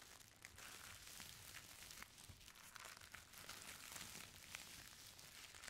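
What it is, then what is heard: Tissue paper crinkling. A folded stack of thin purple tissue paper is scratched with fingers, then a sheet is rolled and folded. The result is a steady, soft, bright crinkling with quick papery crackles throughout.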